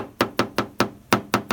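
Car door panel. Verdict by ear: Solid.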